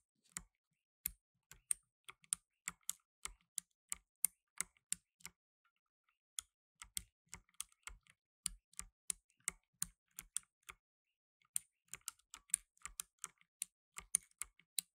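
Fingertips in blue nitrile gloves press the plastic keycaps of a black plastic tenkeyless mechanical keyboard rapidly, typing in three quick bursts separated by brief pauses. Each keystroke is a sharp, bright click with a faint low thump and almost no ring.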